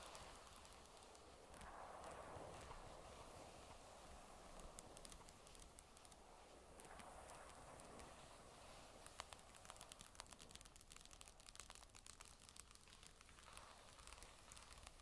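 Long nails tap the flat magnesium back casing of a grey Surface tablet lying face down, with an echo effect added. Quick, irregular light clicks sound bright and sharp, some louder than others, over washes of mid-range reverb that swell and fade.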